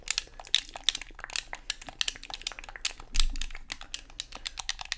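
Thumbs and fingers press and click the buttons of a black Xbox controller and tap its hollow, hard plastic shell. The result is a rapid, uneven series of dry, bright clicks and taps with no ring, plus one fuller, louder knock just after the three-second mark.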